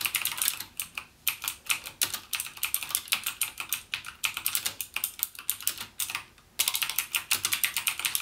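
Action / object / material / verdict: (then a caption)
tap / plastic mechanical keyboard keys / plastic / none. Fingertips type rapidly on the clicky Cherry MX Blue switch keys of a backlit plastic mechanical gaming keyboard, producing a dense stream of sharp, bright clicks with almost no low end. The typing runs continuously except for a brief pause near the end before resuming.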